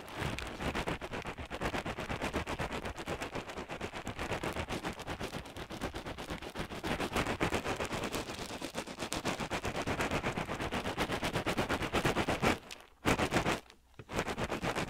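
A small crocheted yarn hacky sack filled with pellets is held in the fingers beside the left microphone and squeezed over and over. The pellets give a dense, rapid, broadband crackle that runs almost nonstop. Two brief quiet pauses near the end separate short bursts of renewed crackling.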